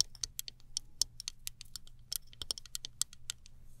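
Long nails tap the handle of a small chrome-finish plastic hairbrush and flick across its black plastic bristles. About eighteen quick, dry, bright clicks and ticks land at an uneven pace, each stopping instantly with no ring, over a faint low hum.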